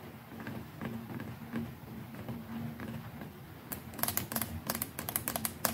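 Long nails tap the plastic neck and collar of the brush head on a white plastic electric toothbrush. Soft, quick clicks sit over a low steady tone at first. The taps then turn sharper and brighter in the second half.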